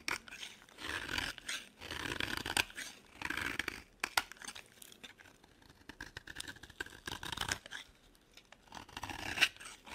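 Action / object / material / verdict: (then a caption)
scrape / solid soap bar shaved with a metal blade / soap / none. The edge of a solid, dry, cream-colored bar of soap is shaved with a metal utility blade held in the other hand. Soft, bright scraping and crunching strokes come in repeated bursts with short pauses between them. Each one is mostly high in tone with very little low end, and the sound stops quickly after each stroke.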